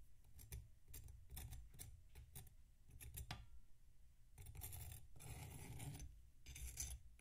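A metal knife scrapes and slices through a solid block of packed sand resting on a plate. Short, gritty strokes with bright crunchy hiss repeat over a low rumble, then give way to longer, rougher grinding scrapes before a few final quick strokes. The whole clip stays fairly quiet.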